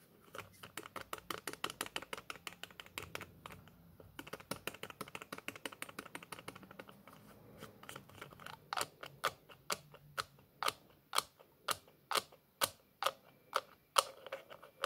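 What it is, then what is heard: Small plastic bottle with screw cap. Fingers twist the white plastic screw cap on a small white plastic bottle and take it off, showing the threaded neck. The result is a rapid run of short, dry plastic clicks with bright edges, dense through the first half, then slowing into louder, evenly spaced ticks toward the end.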